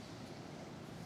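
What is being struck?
Nothing is struck.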